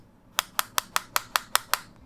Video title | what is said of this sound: OnePlus Buds Pro Matte Black-- Unboxing, Setup & Impressions -- India Retail Unit | a bit of a cheap plastic and a bit hollow feeling, which I don't really like